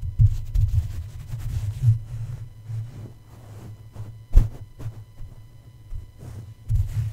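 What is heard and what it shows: A plush toy's fabric feet tap down onto the hollow metal mesh grille dome of a red microphone with a black grille. The result is a series of soft, deep, muffled thuds that sit entirely in the low range over a low hum, with one stronger thump standing out midway.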